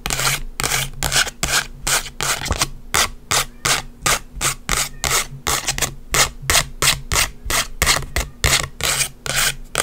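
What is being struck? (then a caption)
Instant photo print, paper and plastic. Long white acrylic nails scratch and rub a small, flat green instant photo with a white frame, made of paper and plastic and held up close. About thirty quick, somewhat uneven strokes each give a bright, hissy scrape that stops at once, over a faint steady low hum.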